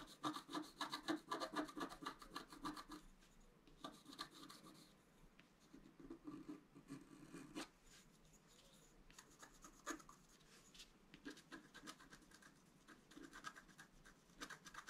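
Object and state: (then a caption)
Scratch art card being scraped. A wooden stylus scratches across a flat black-coated scratch art paper card, working near the antlers and flowers of the design. Quick, dry rasping strokes come in busy bursts of about four per second, with a mid-pitched scrape and bright, gritty edges, separated by quieter stretches of lighter scratching.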